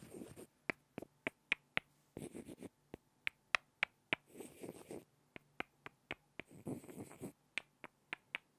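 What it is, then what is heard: Pair of wooden blocks. Two small, solid light-wood blocks are knocked and scraped together by hand. Sharp, bright, dry clicks come in irregular runs of about 19 hits, broken by softer, rustling scraping passages. The sound is quiet and close throughout.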